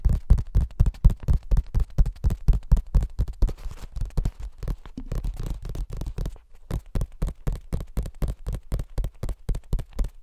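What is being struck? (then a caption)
Paperback book paper pages. Fingertips rub, brush and flick the paper pages of an open cream paperback book. The result is a steady run of quick, soft, dull strokes with a low thump to each one. The strokes blur into a quieter, smoother rustle midway before the crisp rhythm returns.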